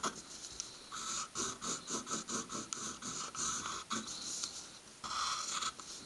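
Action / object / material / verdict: scrape / pencil on a stack of paper / paper / none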